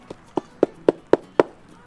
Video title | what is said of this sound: Saguaro National Parks (East and West Parks) | sounds like wood